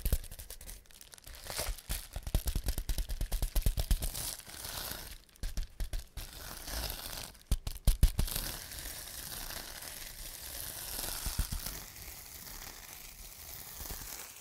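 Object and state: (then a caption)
Plastic bubble wrap. Fingertips press, rub and pop the small air-filled bubbles on a large sheet of clear plastic bubble wrap. Dense crinkling and rustling runs throughout, broken by quick clusters of sharp, dry pops, with the loudest bursts around the middle. The pops are short with almost no ring, over a steady bright plastic hiss.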